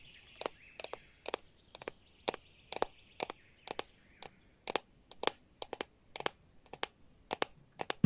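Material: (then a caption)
Metal. A metal bowl from an antique store is tapped with fingernails in a quick, irregular series of light, sharp clicks. Each tap is short and bright, with a faint metallic ring lingering softly between taps at a quiet level.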